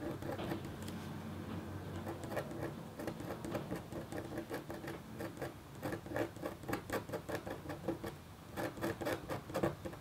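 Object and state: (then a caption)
Copper foil scratch art board being scratched. A red-handled, metal-tipped stylus scratches quick strokes across a flat, black-coated copper foil scratch art board. It makes a dense, quiet patter of short, dry scratches over a low, steady undertone, and the strokes grow sharper and more clustered toward the end.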